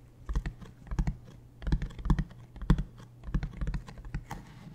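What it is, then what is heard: Hollow hard-shell plastic suitcase. Fingertips and nails tap and scratch along the edge of a large, hollow, beige hard-shell plastic suitcase held upright. Quick clusters of dry, clicky taps come in bursts with short pauses between them. Each tap has a low, hollow thud that dies away almost at once.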